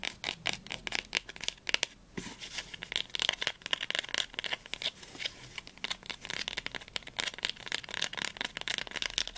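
Fingernails tap and scratch quickly along the textured linen spine of a small, solid, blue cloth-bound volume of Heine, first held sideways and then upright. The result is a dense run of bright, dry clicks and brushing scratches with almost no low end and no ring, broken by a brief pause around the two-second mark.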